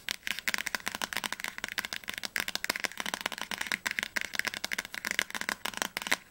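Fingernails tap fast on the glossy cardboard spine of an upright orange hardcover of "Die Tribute von Panem - Flammender Zorn," a solid book. It makes a rapid, uneven stream of dry, bright clicks with almost no low end. Each tap dies away instantly, leaving no ring.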